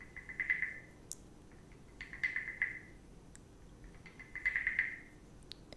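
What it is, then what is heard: Wooden frog guiro. A wooden stick scrapes along the ridged back of a small, hollow, carved reddish-brown wooden frog guiro held in a hand with long red nails. Three separate croaking, ratcheting rasps are heard, each a quick run of clicks with a bright, hollow, woody tone centered around 2 kHz. Faint light taps fall between them, all against a quiet background.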